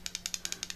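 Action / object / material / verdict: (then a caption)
shake / gold coin in plastic capsule / gold, plastic / loose. An 1886 $5 Liberty gold coin in a 22 mm airtight capsule is shaken, giving a quick, even series of sharp, bright, high-pitched plastic clicks with almost no low end. The coin rattles loose because it is about 0.4 mm smaller in diameter than the capsule, unlike a 1/4 oz Eagle, which sits snugly.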